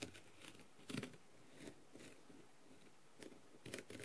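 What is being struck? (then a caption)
Plastic mask covered in rhinestones. A clear plastic-tipped tool taps and scratches across the rhinestones of a blue plastic rhinestone-covered masquerade mask. Soft, crinkly clicks and brief scraping bursts come at irregular intervals over a quiet background, with bright, sparkling edges on each contact.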